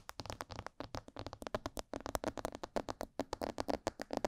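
A life-size, hollow, glossy black plastic mannequin head is tapped on its sides and ears with long purple fingernails and fingertips. Rapid, irregular clicky taps each die away almost at once, with a hollow mid-range ring near 625 Hz under bright edges.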